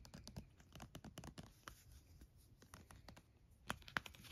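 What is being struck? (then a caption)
Plastic lotion squeeze tube. A red plastic squeeze tube of body cream, about 8 oz and apparently full, is held in the hands and tapped and scratched with the fingernails. Quick, irregular dry clicks and scratchy rustles come at a fast pace, and two sharper, brighter taps stand out near the end. Each tap dies away almost at once.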